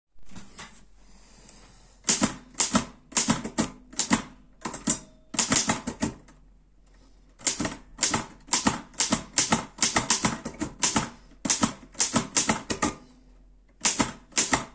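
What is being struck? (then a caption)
Metal portable typewriter keys. Fingertips press the round keys of a black metal Erika 5 portable typewriter, producing quick, bright, sharp typing taps in uneven bursts. A short pause comes around the middle before the clacking picks up again, and each tap dies away almost at once.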